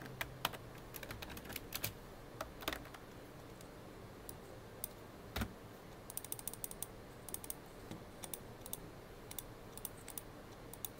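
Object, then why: Plastic computer keyboard. Fingertips, mostly of the right hand, tap keys on a full-size black plastic computer keyboard. Quiet, clicky typing comes in irregular bursts of short, sharp clicks over a steady low background rumble.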